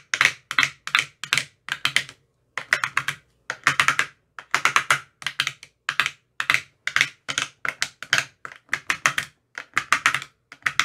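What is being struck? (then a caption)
Plastic ice cube tray tapped with a thin rod. A thin metal rod with a white rounded tip taps rapidly inside the hollow cells of an empty, translucent, frosted plastic ice cube tray with 15 compartments. The taps come in quick clusters separated by brief pauses, each a bright, dry, hollow click that dies away almost at once, with little low end.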